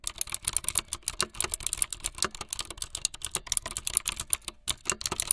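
Fingertips with long light-blue nails type fast on a full-size plastic keyboard with white, blue and yellow keycaps and a blue backlit frame. A dense, steady run of sharp, bright clacks rings off each key with almost no decay and little low end.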